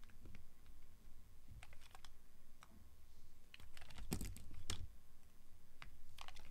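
A small, solid, translucent orange glycerin soap bar is held in the hand while the blade of a yellow box cutter shaves its edge. The result is a series of short, crisp scraping clicks with bright, sharp tops over a quiet low rumble, and two louder cuts near the end.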